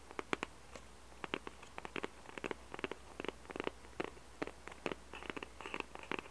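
Fingertips and nails scratch and tap the white underside of a small, hollow cardboard jigsaw puzzle box. Quiet, dry, papery clicks and short scratchy bursts come in irregular clusters with no ring after each touch, over a faint steady low hum.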